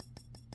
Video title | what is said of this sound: sl04 A rare and interesting geometrical jewel! | if you hit it just with finger I can hear it again a little bit